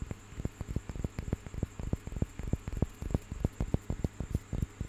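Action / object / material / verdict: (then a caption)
tap / small carved painted wooden piece / wood / none. A small, solid, carved and painted wooden panel is held in one hand and tapped and scratched with fingers and nails. It gives a quick, uneven patter of dull, low, very short knocks with faint scratching between them. A faint steady high tone runs underneath throughout.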